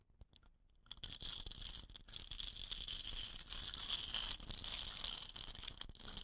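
A hollow, dot-painted green bamboo rain stick with woven rattan end caps lies on a purple cloth while fingertips with short nails roll and rub it, so the fill inside trickles. After a nearly silent first second with a few faint ticks, a dense, bright, hissing rattle of trickling fill rises and holds steady, with a strong band near 3 kHz.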